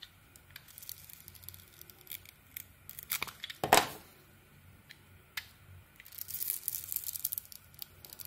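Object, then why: Soap bar shaved with a metal blade. A metal knife blade shaves strips from a solid pink-coated white bar of soap, making soft, dry scraping and crackling sounds. A louder, sharp rasping cut comes near the middle, followed by a quiet pause, then a denser flurry of bright, crisp carving crackles toward the end.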